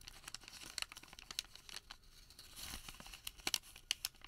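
A thin printed thermal paper receipt is folded, rolled into a tube and squeezed with bare fingertips. It gives a quiet, bright crinkling and crackling made of many sharp, dry clicks and snaps. A brief softer rustling swell comes in the middle, with almost no low end and no ring after each snap.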